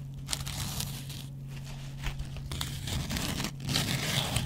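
A double-edge metal razor blade held in the fingers scratches across a dry, hand-sized cellulose kitchen sponge with a scouring pad, its yellow foam side facing up. Irregular bursts of dry, crinkly scraping with a bright hiss come and go over a steady low hum.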